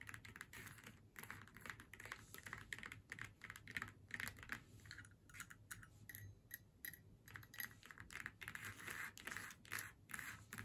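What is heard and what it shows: Long nails tap rapidly on a flat faux leather snowman door hanger, moving between its faux leather face and the black hat section. The taps come as quick, irregular, crisp clicks with a bright, dry edge that dies away almost instantly, over a faint, steady low hum.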